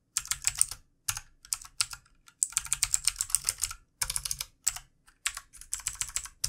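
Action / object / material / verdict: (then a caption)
tap / plastic mechanical computer keyboard / plastic / none. Fingertips of both hands type on a full-size backlit plastic mechanical computer keyboard with plastic keycaps. The taps are quick, bright and clicky, falling in rapid bursts separated by short pauses. Each keystroke sounds dry, with no ring.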